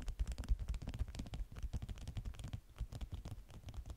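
Long nails on both hands quickly scratch and tap a flat stack of stiff, yellow beeswax-coated cotton food wraps. The result is a dense, irregular patter of short, dry taps and scratches, mostly low and dull, with faint brighter edges on each touch.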